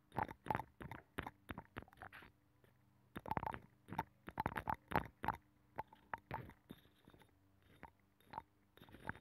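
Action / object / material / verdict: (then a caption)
scrape / abalone shell with nacre interior / shell / none. A thin metal pick scratches the inner ridges of a hollow abalone shell with a nacre interior, mounted on a microphone. It makes quiet, quick scraping bursts in irregular clusters with short pauses between them. The tone is mostly mid-range and slightly hollow, and each scrape stops almost immediately with little ring.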